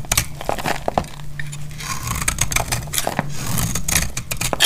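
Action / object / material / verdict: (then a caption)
scrape / oval soap bar shaved with a blade / soap / none. A solid, dry, light blue oval soap bar is held in the hand and shaved with a metal snap-off utility blade. Brittle flakes crack off with quick, dry scraping strokes and sharp crackling clicks, over a low steady hum.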